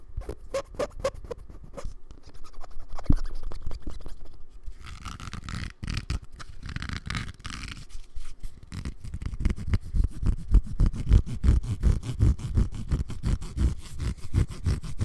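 Fingernails scratch a hollow black cylindrical Bluetooth speaker with a rough plastic texture and a strap, held in the other hand. The result is fast, uneven scratching with a deep, hollow, rumbling thud at roughly three strokes per second, with a softer, airier rasp in the middle of the clip.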